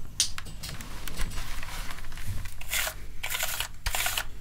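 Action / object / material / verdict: scrape / plastic keyboard / plastic / none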